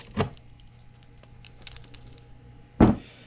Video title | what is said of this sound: Infiniti Q70 Hub assembly replacment. | some of the bearings came out and they're they're just floating around inside there you can kind of hear it when you shake it